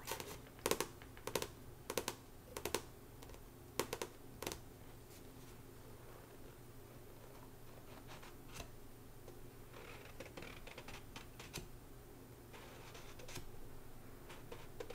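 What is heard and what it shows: Long nails tap rapidly on the card back cover of a paperback book lying flat. Sharp, dry clicks with short, bright ticks stand out in the first few seconds, then settle into softer, quicker tapping and light scratching over a steady low background hum.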